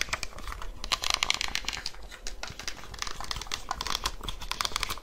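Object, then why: Handheld plastic calculator. Long nails quickly press and tap the hard keys of a small black handheld plastic calculator. A rapid, dense stream of short, bright plastic clicks and taps runs throughout, over a faint low hum.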